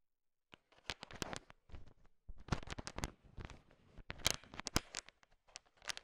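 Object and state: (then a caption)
Candy-coated chocolates clattering. A thin wooden stick stirs a large heap of small, solid, colorful sugar-coated M&M candies, and the candy-coated chocolates clatter against each other. After a brief silence, irregular bursts of dry, bright clicking and rattling follow one another, with short crisp ticks and no ringing.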